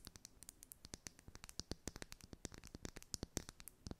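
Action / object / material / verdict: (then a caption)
tap / glass makeup foundation bottle / glass / none. A glass makeup foundation bottle is tapped and scratched, giving a quick, uneven run of sharp, bright clicks and taps mixed with faint scratching. Each tap is very short and dry, with no ringing, and the sound stays quiet and close throughout.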